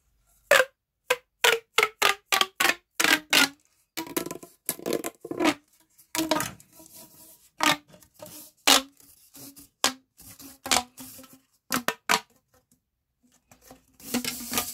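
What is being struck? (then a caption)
Corrugated plastic pop tube. A hollow, pale yellow corrugated plastic pop tube is pulled and compressed between both hands, its ridges clicking under the fingertips. Quick, sharp, bright pops snap out one after another with a short hollow tone, mixed with quieter crinkly rubbing. The clip ends in a soft, breathy rustle as the tube is stretched.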